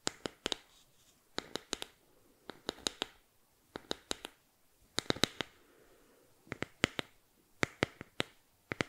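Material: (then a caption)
Bamboo. Fingernails scratch a small, flat, solid bamboo board held upright above the mic, making crisp, dry, bright clicks and scrapes. The sounds come in quick clusters of sharp bursts, each stopping almost instantly with no ring, over a faint low hiss between the groups.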